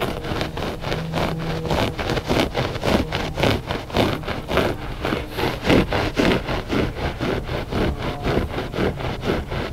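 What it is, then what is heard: Looped carpet rug. Short fingernails scratch the pile of a flat gray loop-pile textile rug that is solid and soft. A steady run of dry, brushy rasping strokes sits over a low, constant hum, each stroke short with almost no ring.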